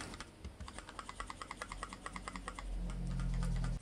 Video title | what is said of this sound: VAY ARKADAŞ ŞİMDİ BU TELEFON MU ? SONY XPERIA PRO-I İnceleme BU SEFER OLMUŞ MU ?? | içindeki sensör sallanıyor Neden Çünkü Optik Yahu böyle bir yay üzerinde duruyor ve salladıkça